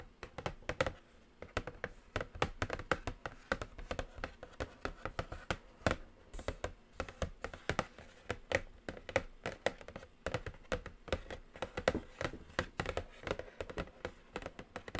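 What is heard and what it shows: A flat black cardboard eyeshadow palette box with a glossy print, medium-sized and hollow, lies on a table and is tapped and scratched with long acrylic nails. Quick, dry, hollow taps land in a steady stream, carrying a slight mid-range ring with faint scratching between them. There is no talking.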